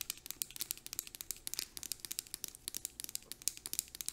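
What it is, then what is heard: Plastic hand cream tube, tapped and scratched. Long acrylic nails rapidly tap and scratch a plastic hand cream tube with a green cap, giving about 27 quick, irregular clicks over four seconds. The taps are crisp, bright and dry, with almost no low end, and each dies away at once. Soft scratchy rustling fills the gaps between hits.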